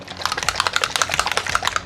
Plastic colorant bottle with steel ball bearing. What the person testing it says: if you start shaking it and you don't hear it, which if they've been sitting for a while is very likely, shake it until you hear that